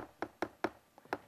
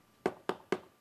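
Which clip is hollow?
The first.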